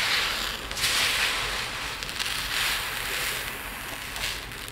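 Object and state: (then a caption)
Resin diamond art drills trickling in a plate. A pile of tiny multicolored resin diamond art drills in a dark plate is scooped up by both hands, dug into and let trickle back down. The result is a continuous bright, hissing rattle of beads with swelling bursts of dense crackle as handfuls pour, and almost no low end.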